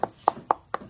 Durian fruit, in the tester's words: หอมแล้วนี่เสียงมันอย่างเงี้ยลม